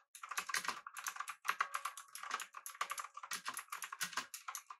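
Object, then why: Mechanical keyboard with aluminium body and round plastic keycaps. A full-size backlit typewriter-style mechanical keyboard with blue switches, an aluminum body and round plastic keycaps is typed on rapidly with the fingertips of both hands. A dense stream of about 35 crisp, clicky keystrokes comes in quick bursts with brief pauses, bright and short with almost no low end.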